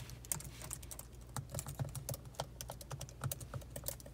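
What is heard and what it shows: Both hands with long, pointed acrylic nails type at a slow pace on the black plastic keys of a silver laptop, tapping with fingertips and nails. The result is an uneven patter of crisp, bright clicks and clacks over a steady low hum, with an echo effect applied.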